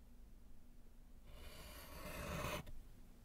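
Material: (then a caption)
Slate. A gloved hand writes with pink chalk on a small, flat, solid slate chalkboard in a wooden frame. After a quiet low hum, one continuous scratchy rub begins at about 1.3 seconds, grows brighter and louder, then stops abruptly near 2.6 seconds, leaving the faint hum again.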